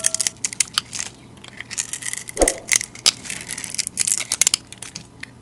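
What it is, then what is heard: Bar of soap being shaved. A utility knife blade shaves powdery flakes off a solid rectangular bar of white soap with a green glitter layer, held in a hand with long dark nails. Dry, bright scraping and crunching comes in quick, irregular bursts, with a thicker, fuller scrape midway through.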